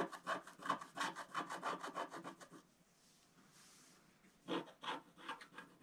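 A wooden stylus scratches across various areas of a flat scratch art paper sheet with a black coating, finishing at the sheet's lower edge. A quick, steady run of dry, rasping strokes gives way to a brief near-silent pause, then a few more scratches.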